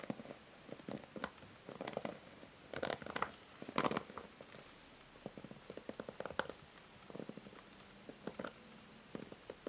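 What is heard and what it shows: Long nails scratch and tap the bristles and rim of a pink and grey plastic hair brush, making soft, dry scratching and clicking sounds. The sounds come in quiet, irregular bursts, with a few brighter, louder strokes standing out.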